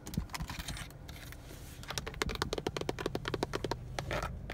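Fingertips and nails tap on the textured black plastic airbag cover of a Honda steering wheel. Quick, dry clicks with almost no ring come in an uneven patter, speeding into a dense run of sharp taps in the second half over a steady low rumble.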